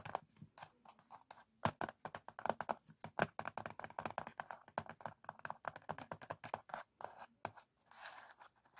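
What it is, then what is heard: Cardboard matchbox. Fingertips tap and nails scratch the printed lid of a small, closed, worn cardboard matchbox. About forty quick, dry, quiet taps and scratchy crunches follow one another with no ring, and a softer, brighter rustling scrape comes near the end.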